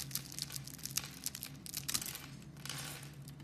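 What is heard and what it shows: A metal blade scrapes across a solid pink soap bar with a carved wavy surface, lifting off flakes. Dry, bright, crinkly scraping comes in short bursts with crisp ticks over a faint steady low hum.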